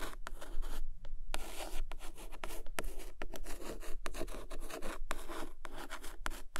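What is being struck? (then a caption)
Cloth-bound hardcover book. Long acrylic nails scratch and trace along the embossed cover of a medium-size, solid red cloth-bound hardcover book ("Долгое ожидание") lying flat on a carpet, with a second book lying nearby untouched. Dry, continuous rubbing and scratching is broken by short, bright strokes, over a steady low rumble. Each stroke dies away almost instantly with no ring.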